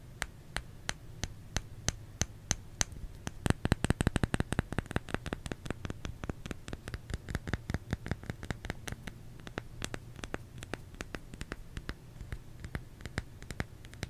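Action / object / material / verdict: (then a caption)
tap / solid bar of soap / soap / none. Fingers tap on a solid bar of soap, making short, dry, clicky taps that stop dead with no ring. The taps come steadily at first, speed into a quick flurry for a second or two, then settle back into an even rhythm over a low background hum.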